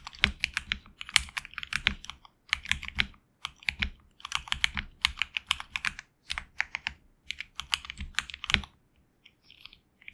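HyperX Alloy Origins Core mechanical keyboard with HX Red switches and backlit black and red PBT keycaps, typed on with fingertips in a side close-up. Quick bursts of bright, clicky keystrokes with sharp clacks come in uneven runs, broken by short pauses, and the sound stays high and crisp with little low rumble.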